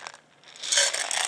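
Grains placed inside a small metal can are shaken, and the grains striking the can's walls make a bright, rattling, hissy sound. A few quick light rattles come first, then a short lull, then a denser, louder burst of shaking.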